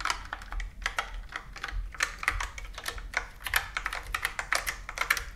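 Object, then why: Plastic computer keyboard keys. A plastic computer keyboard with round keys is tapped and typed on with long nails, producing a rapid, uneven run of sharp, bright plastic clicks. The clicks are short and dry, centered in the upper mids around 1.7 kHz, with a faint low hum underneath.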